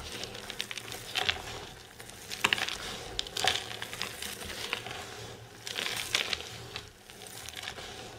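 Bare hands and fingertips press, rub and crush a heap of dry green soap shavings against a table. The result is a dense, bright crinkling and crackling with many short, dry crunches and a few louder bursts.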